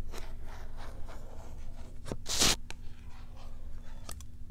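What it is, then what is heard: Cat toy in cardboard and plastic blister pack. Long nails scratch across a small cardboard-backed plastic blister pack with a cat toy inside, held up. Dry, crinkly scrapes and light ticks build to one louder, bright rasping burst midway, then fade back to soft scratches over a faint low hum.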